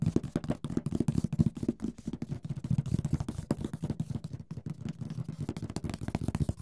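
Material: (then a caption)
Cardboard. Fingertips tap the lid and sides of a large, rigid, hollow printed cardboard Mysterium board game box while the other hand steadies it. A rapid, continuous stream of dull, hollow thuds sits mostly in the low range, each tap dying away almost instantly with little brightness.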